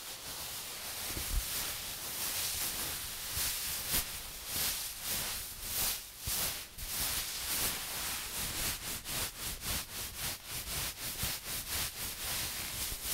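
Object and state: Nothing is struck.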